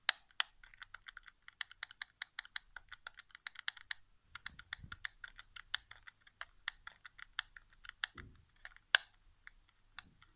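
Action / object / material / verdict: tap / plastic game controller / plastic / none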